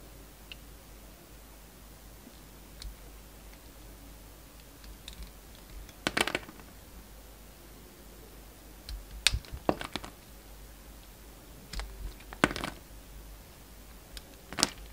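A steel utility knife blade shaves thin curls of red waxy coating off a solid, hand-sized rectangular soap bar held in the hand, exposing its black-and-white striped core. Against near-silence, short, crisp, bright scraping clicks come in scattered bursts, with the sharpest cuts around the middle and end of the clip.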